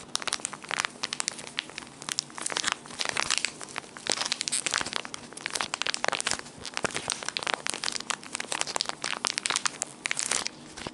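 A small brown Loumidis Papagalos ground-coffee packet, foil-laminated and partly filled, is crumpled and crinkled in the hands with the fingertips. Dense, bright crinkling and crisp crackles continue without pause, with sharp, quickly fading snaps and almost no low end.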